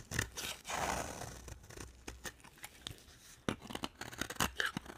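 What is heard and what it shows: A utility knife blade scrapes and carves a solid, dry, purple marbled bar of soap. A sustained, gritty scrape at the start gives way to a run of short, crisp cuts and scratches with bright, brittle edges. Each stroke stops quickly with almost no ring.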